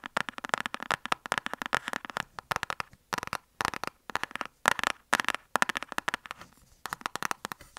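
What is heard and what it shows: Long nails tap a closed, flat rectangular black cardboard lipstick palette box held upright. They make quick bursts of dry, clicky taps, grouped in rapid clusters with short pauses between. The taps are crisp and midrange-focused, with almost no low end and no ring after each hit.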